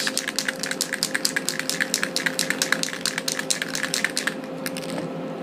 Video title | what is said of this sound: Plastic model building 101 | you can hear the marbles inside and that means that the paint is fairly mixed